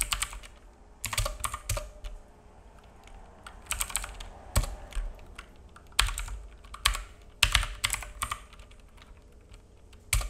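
Fingertips of both hands type on a black full-size mechanical keyboard with plastic keycaps and a hollow case, resting on a wooden desk; the keyboard is judged not normal. Bursts of rapid, bright plastic clacks with a low hollow thump beneath come in uneven flurries separated by short pauses. Each tap dies out almost instantly over a faint steady background hum.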